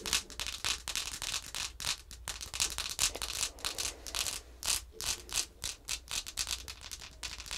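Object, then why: Laminated cardboard flash card. Long manicured nails scratch and tap along the lower edge and surface of a thin laminated cardboard flash card showing the number four and horse pictures, which lies flat on a wooden table. A rapid, uneven run of crisp, bright scratching strokes and light taps is heard, each dying away almost instantly, with little low end beneath them.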